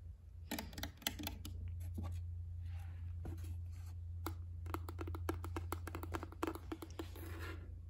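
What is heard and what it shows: Long nails and fingertips tap and scratch the edge and the green "better not pout" back panel of a medium-sized, shallow, hollow, square white painted wooden shadow box sign with a small pine sprig. Quick, sharp clicking taps come in clusters, mixed with soft scratching, over a steady low hum.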